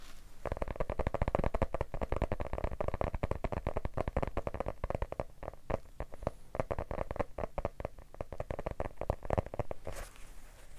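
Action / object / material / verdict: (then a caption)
tap / hardcover book / cardboard / none. A solid yellow hardcover book is held in the hands and tapped rapidly with the fingertips, giving a dense run of short, dull, low thuds that barely ring. Near the end, a flat palm strikes the cover and rubs across it, leaving a brief soft brushing hiss.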